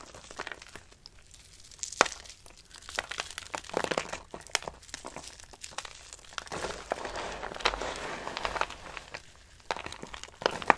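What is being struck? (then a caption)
Soap shavings. Handfuls of a pile of dry, brittle pale green soap shavings in a red-lined box are crushed and crumbled between fingers and palms by a hand with long pink nails. The result is a continuous, crisp crinkling and crunching made of many quick, dry crackles with bright, airy texture and almost no low end. The crackles swell into denser bursts, with sharper snaps around the 2-second mark and near the end.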